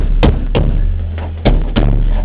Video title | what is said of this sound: 100_5091 | it sounds solid. It doesn't sound hollow. So it sounds as if those layers of ply are still bonded to one another.